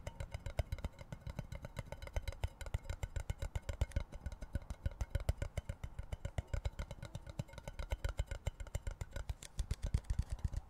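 Fingertips and nails tap and scratch the plastic lid and sides of an empty, hollow-sounding cardboard Pringles can, a tall cardboard chip tube with a metal base. The result is a fast, steady stream of short, dry, low, hollow thumps that stop instantly, with faint scratchy texture between them throughout.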